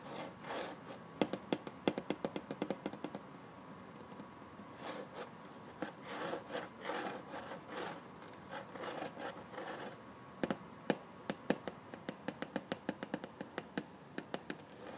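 Fingertips and nails rapidly scratch and rub the back panel of a hollow, printed cardboard phone-stand box. Soft, dry scraping swells rise and fall, broken by many sharp, quick ticks that die away almost instantly.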